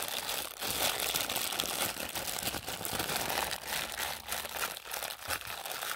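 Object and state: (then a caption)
Crinkly plastic wrapper. A thin, flexible clear and pink printed plastic packaging wrapper is crumpled and squeezed in both hands, worked by fingers with pink nails. It gives a steady, dense, bright crinkling with sharp crackles throughout and almost no low end.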